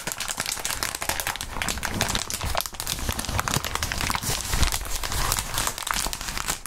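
Gloved hands squeeze and crinkle crumpled clear plastic bubble wrap. A dense, continuous bright crinkling is heard, full of rapid crackles and snaps over a low rumble. It stays busy and steady throughout, with no pauses.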